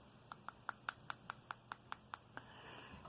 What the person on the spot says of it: that was me tapping this on my tooth. That is glass, because if it's plastic, you know that it's not as high grade.